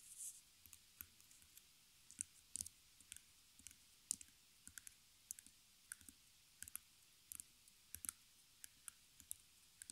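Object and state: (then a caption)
Back of a stretched canvas on a wooden frame. Long fingernails tap and scratch the back of a small stretched canvas: wooden stretcher bars wrapped in canvas fabric, fixed with metal staples, with a hollow center. About thirty quick, dry, bright clicks, unevenly spaced, with brief scratchy sounds between them. Each click dies away almost at once over a soft, quiet background.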